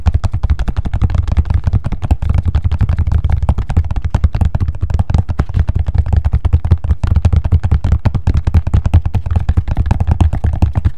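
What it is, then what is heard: Knit shoe with rubber sole. A single black knit slip-on shoe, with a fabric knit upper and a hollow rubber sole, is held in both hands while long fingernails tap and scratch it. A steady stream of quick, dull taps with low thumping body runs throughout, each hit short and closely spaced.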